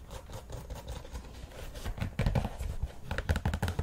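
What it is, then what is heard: Synthetic knit soccer cleat. Long manicured nails scratch and tap the synthetic knit mesh upper of an empty white and red Nike soccer cleat, with laces and a plastic studded soleplate, held in the hand, near the laces and along the side. Soft, dull, low scratching and muffled taps come in an irregular patter, growing louder and busier in the second half.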